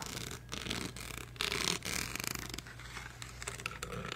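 A blue bedazzled karaoke microphone, made of hollow plastic covered in rhinestones with a metal mesh head, is held close and scratched with fingernails across its grille and rhinestone body. Bright, crackly scratching and rubbing comes in uneven bursts over a steady low hum, with short sharp clicks between the louder scrapes.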